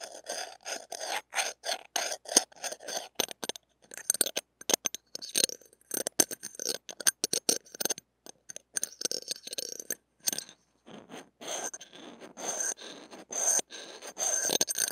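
A thin stainless steel spatula blade scrapes over the small, hollow steel-mesh grille of a mini microphone head close up. Many short, bright, gritty scratching strokes come in quick bursts with brief gaps, each dying away almost at once, with a thin, high metallic tone running through them.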